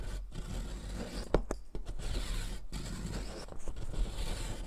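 A solid blue sidewalk chalk stick, held with long nails, is rubbed down a metal mesh foot-file rasp over cardboard, and blue powder collects. Steady, gritty scraping and grating strokes run throughout, broken by a few brief pauses and one sharp scratch near the middle.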